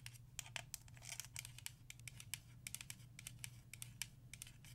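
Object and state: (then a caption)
Plastic paint bottle tapped and scratched. Long acrylic nails tap and scratch a small black DecoArt Crafter's Acrylic paint bottle, a plastic bottle of about 118 ml that appears full and is held in the hand. The result is a run of quick, bright, dry clicks and scrapes that die away almost instantly, over a steady low hum.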